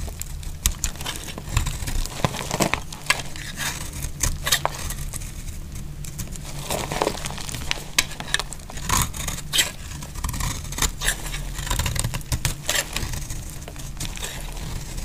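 A metal blade cuts and scrapes flakes off the edge of a dry, solid yellow soap bar held in the hand. The sound is a steady, crisp crackling and crinkling with many sharp, bright clicks as the flakes break away, over a low, constant rumble. Each snap is dry and dies away almost at once.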